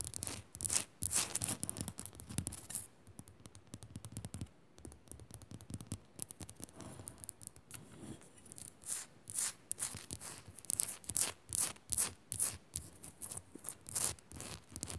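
Long nails scratch fast and tap against the side of a solid pink rock-salt crystal on a pink Himalayan salt lamp. Quick, irregular bursts of bright, high rasping alternate with short, dry taps that die away almost instantly, all at a quiet, close level.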